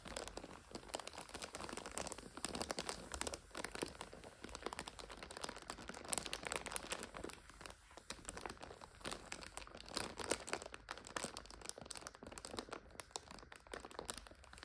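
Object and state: Plastic instant noodle multipack.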